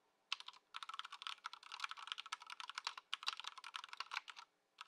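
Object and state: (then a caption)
Plastic mechanical keyboard. Both hands type continuously on a compact white Ducky One 2 SF mechanical keyboard in its stock "before" setup, with plastic keycaps, resting on a dark mat on a wooden desk. A fast run of bright, clacky plastic keystrokes with very short decay and no low end fills the clip, with a brief pause near the start and a longer gap just before the end.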